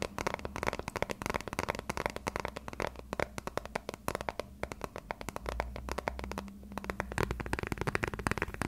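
A thin-shelled transparent plastic phone case, held edge-on, is tapped and scratched with fingertips and short nails. The result is a rapid, dense stream of short, dry clicks and ticks with a soft scratchy texture, over a faint steady low hum.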